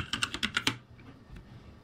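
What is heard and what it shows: Fingertips type on a backlit ROCCAT G65 mechanical keyboard with plastic keycaps, producing six quick, bright, clacking keystrokes in a fast run. The clicks stop sharply, leaving a low, quiet background for the rest of the clip.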